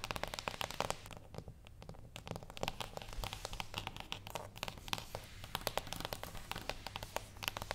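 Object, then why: Small cardboard box. Long acrylic nails on both hands tap rhythmically on a small, flat, closed cardboard gift box with a Birthday Suit label, lying on a wooden table. The result is a rapid stream of crisp, dry, bright clicks with almost no ring, and a lighter, sparser stretch near the start.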